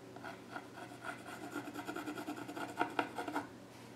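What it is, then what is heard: Wooden stool top. A pencil scratches lines across the flat top of a solid, dark-stained wooden child's stool while the other hand rests on the surface. A steady, dry rasp of quick, rhythmic strokes centers in the midrange around 700 Hz with a bright scratchy edge. It ends with three sharper, louder strokes.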